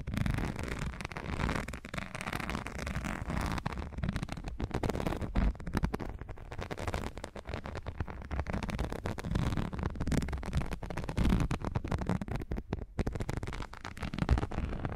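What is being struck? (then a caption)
Thin textured rubber non-slip sheet. Long nails scratch up and down a folded strip of thin grey textured non-slip rubber or silicone sheet held in both hands. The result is a continuous, dense, crackly scraping with a heavy low rumble, little bright content and a steady level throughout.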